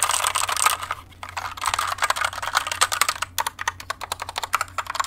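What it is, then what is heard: Plastic mechanical keyboard. A compact white plastic mechanical keyboard with pink keycaps is held up and tilted, then typed on and tapped with the long nails and fingertips of one hand. Fast, dense bursts of bright plastic clicks and clacks give way to quicker, more spaced individual taps. Each click is sharp and dies away almost instantly.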